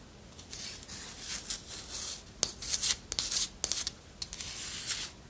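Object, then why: Wooden spoon. Long nails scratch along the handle of a long, thin, solid wooden spoon, making soft, bright rasping strokes in an irregular rhythm. Sharp little clicks break in now and then, and there is almost no low end beneath the quiet, dry scratching.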